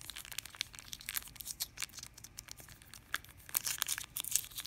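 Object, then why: Plastic candy wrapper. A small yellow printed plastic candy wrapper, held in the hand above a fruit bowl, is crinkled and rubbed between fingers with long dark-painted nails. It gives quiet, bright crackling crinkles in a rapid string of short, sharp bursts with almost no low end. The crinkling grows louder and denser toward the end.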